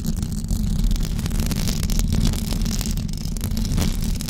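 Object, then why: Knitted fabric microphone cover. Long blue acrylic nails on both hands scratch a white knitted fabric cover stretched over a rounded microphone head. The result is a continuous, dense, muffled rumble of scratching, heavy in the low end with faint brighter rasping streaks. The level stays fairly steady throughout.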